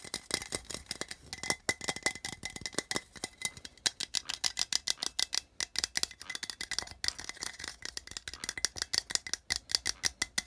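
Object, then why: Small metal tin can. Fingernails tap rapidly on the side wall of a small, hollow, printed metal tin held upright in one hand. The result is a fast, uneven stream of sharp, bright, tinny clicks that die away almost instantly, with a faint high metallic ring and very little low end.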